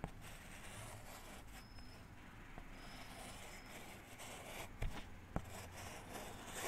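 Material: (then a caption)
Chalk. A hand writes with a white chalk stick on a small, thin, flat and solid black chalkboard panel held close to the mic. Soft, continuous chalk scratches and scrapes run across the surface, broken by three sharp taps. The sound stays quiet throughout.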